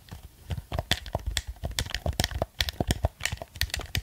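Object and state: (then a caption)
Plastic game controller. A black plastic gamepad is held close to a microphone while its buttons are pressed and its surface is tapped with fingertips and nails. About twenty quick, dry clicks and taps come in an irregular rhythm, each pairing a dull low thump with a bright plastic tick. Every sound stops almost instantly, with no ring.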